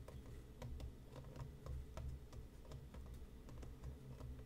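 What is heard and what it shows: Fingertips and nails of both hands tap on the top and front of a hollow printed cardboard tea box resting on a cutting mat. The result is a quiet run of light, quick clicks over a soft, low, hollow thud.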